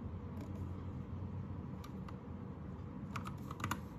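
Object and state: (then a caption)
Plastic mechanical keyboard. Fingertips of both hands tap on a white 60% Anne Pro 2 mechanical keyboard with plastic keycaps and a pink/red backlight. Sparse, short, bright plastic clicks, clustered toward the end, rise slightly above a steady low rumble that dominates the clip. Each keystroke dies away almost instantly.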